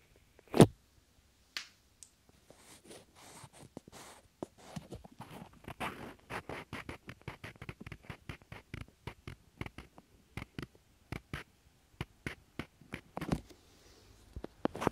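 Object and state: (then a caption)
Small wooden blocks. Two small solid wooden cubes, held one in each hand, are tapped and rubbed against each other with the fingers close to the mic. A loud sharp knock opens the clip, followed by a steady run of dry, short clicks mixed with soft scraping and sliding textures. Each click dies away almost at once.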